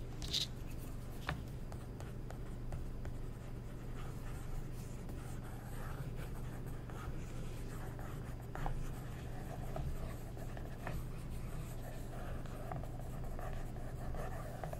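A wooden stick traces and scratches over a printed ad page of an open glossy paper magazine turned to a new spread, while the other hand holds the pages flat. Soft, dry scratching and rubbing strokes with occasional brighter ticks sit over a steady low hum, at a quiet, even level.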